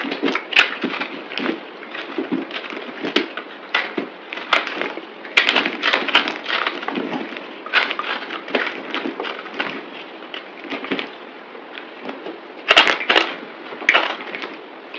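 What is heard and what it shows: A solid green bar of soap held in the hand is scraped and cut with a utility knife blade, played back at double speed. Dense, crisp scraping and crunching runs throughout, with sharp, bright cutting strokes standing out over a steady gritty texture and little low end.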